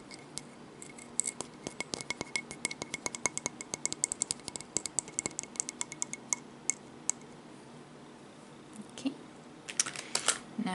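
A seashell, one previously used in mermaid videos, is tapped in a rapid series of light, bright clicks with a crisp high-frequency edge and almost no ring. After a short lull, the shell is handled with scraping, rattling sounds at the end.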